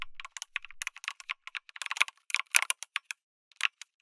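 Fingertips type on a lit mechanical keyboard with an aluminum case and red and grey plastic keycaps. It makes a quick, irregular run of sharp, bright clicks and clacks centered around 2.4 kHz, with almost no low end. Each keystroke dies away almost instantly, leaving short gaps between presses.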